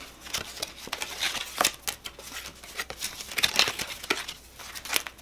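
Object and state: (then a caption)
Paper playing card deck. A full deck of coated paper playing cards with purple foil backs is held in both hands while fingertips riffle, split and cut the packets in a cardistry flourish. The cards flick and snap against each other in quick, bright, crisp bursts with almost no low end and very short decay.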